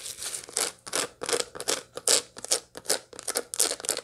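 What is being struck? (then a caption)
Dried sunflower head with seeds. Long light-blue nails scratch across the seed face of a dried sunflower head still holding its seeds and green bracts, with the bract edge briefly handled. The result is a string of quick, dry, bright scratching bursts in an uneven rhythm, each stopping short with little ring.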